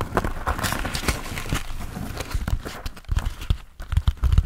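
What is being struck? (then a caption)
Foam sponge on a foam base. A hand-sized grey textured foam sponge on a tan foam base, solid and porous, is held in both hands and tapped rhythmically with the fingertips. The taps make soft, dull, low thumps with almost no ring, over a faint brushing rustle of the foam.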